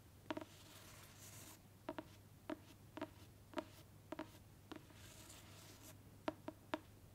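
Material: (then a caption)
Cardboard. A large, dark hardcover book with a textured printed cover is held upright and scratched and tapped with long pointed black fake claw nails on one hand and natural nails on the other. About a dozen sharp, short taps ring with a low hollow tone, separated by soft, airy scratching across the cover. The sound is quiet and close.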